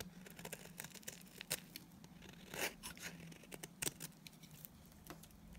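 A utility knife blade shaves flakes off the lower edge of a solid, oval, tan bar of dry Timotei soap held in the hand. Quick, crisp scraping crackles and bright flaking snaps come in irregular bursts, with a few louder cuts over a faint low hum.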